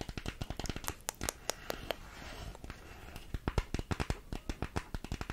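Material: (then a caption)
Cardboard. A small, hollow printed cardboard makeup box is held in both hands and tapped and scratched with long nails. Quick, dry taps with a low, hollow thump come in bursts, broken midway by a softer stretch of bright, papery scratching before the fast tapping resumes.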